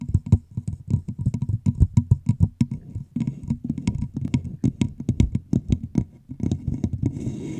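Fingertips and long nails tap and scratch the sides of a hollow, empty clear plastic bottle with a red label, held over the microphone. A fast, uneven run of short, dry taps gives hollow low thumps with bright clicky edges that die away almost at once. Near the end, the tapping gives way to a steadier, hissy scratching.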